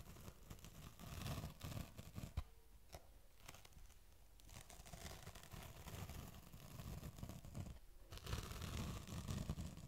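Fingertips and nails scratch and rub across the ridged plastic lid of a small, hollow, hand-held oval black shoe shine sponge case, its lid closed over the tan sponge pad, right beside the mic. The result is dense, crunchy scraping and rustling with a heavy low, close-up boom and one sharp tap early on. It eases into a quieter stretch in the middle before building again toward the end.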